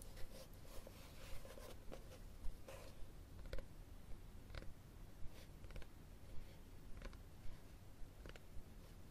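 Fingernails scratch the cover and spine of a solid red textured cloth hardcover book, which is tilted and then held horizontally. Quiet, dry scratching runs throughout, broken by about eight short, sharper strokes at a fairly steady pace over a low, soft rumble.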